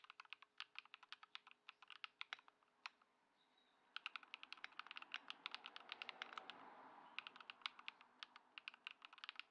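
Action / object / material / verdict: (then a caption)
tap / mechanical keyboard with plastic keycaps / plastic / none. A compact 65% Ducky One 2 SF mechanical keyboard, modded with foam-dampened Lumia Matcha switches, white plastic keycaps and a grey case, sits on a wooden desk. Fast two-handed fingertip typing produces dense, bright, short clacks in quick bursts. There is a brief pause around the three-second mark, and a soft low hum sits underneath at times.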